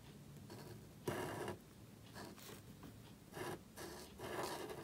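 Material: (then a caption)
Cardstock. A marker nib scratches across a small, thin black cardstock card held flat while writing on it. Short, dry, bright scratching strokes come in bursts, separated by quiet pauses.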